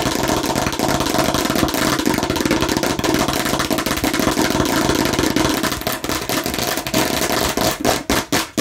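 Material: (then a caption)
Plastic. Long nails of both hands tap fast on a hollow plastic watermelon-slice bottle held upright. A dense, steady clatter of bright plastic clicks rides a hollow mid-pitched resonance around 300 Hz. Near the end it thins into a few more separate taps.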